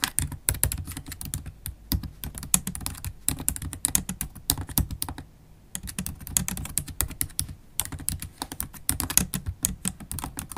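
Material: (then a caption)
Plastic. Long acrylic nails and fingertips type fast on a MacBook Pro keyboard with black plastic keys set in an aluminium body. Rapid, bright clicky taps with soft low thumps underneath run almost continuously, with a brief pause in the middle before the fast typing resumes.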